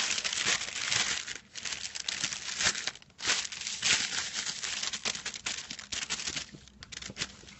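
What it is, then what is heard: Metallic foil sheet, crinkled. Fingertips and nails scratch and crinkle the surface of a crinkled silver metallic foil sheet lying flat. A dense, bright crackling and rustling comes in uneven bursts with brief quieter gaps, with almost no low end.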